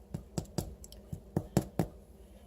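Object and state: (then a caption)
Hollow-sounding, fully baked bread loaf. A homemade yeast bread loaf, just out of the oven, is tapped in a series of short, dull, low thumps with a hollow tone, showing it is baked through and done.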